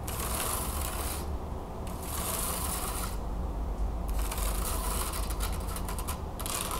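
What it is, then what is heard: Wooden hand fan scratched and tapped. Long nails scratch and tap across the thin carved slats of a wooden hand fan lying open flat on a table. Bright, hissy scratching comes in bursts that stop and restart, with quick taps near the end over a steady low rumble.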